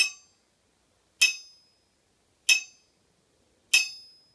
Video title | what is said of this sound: Testing ring and rebound on an anvil | This anvil has a nice ring to it. I wouldn't say it's a real high-pitched ring, but a ring nonetheless.